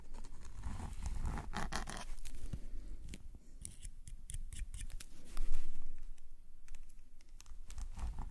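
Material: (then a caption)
Paper. A metal calligraphy nib on a wooden pen, held in a gloved hand, scratches ink lines across a flat black paper page of a sketchbook resting on a solid surface. Quick, irregular scratchy strokes come in short bursts with a low rumble underneath, and one louder scrape stands out around the middle.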